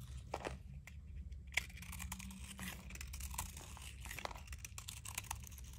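A utility knife blade shaves and carves crunchy shavings from a shrinking piece of solid blue dry Zest soap held in the fingers. Dry, crisp scraping and crackling cuts repeat through the clip, with a few sharper snaps, over a steady low hum.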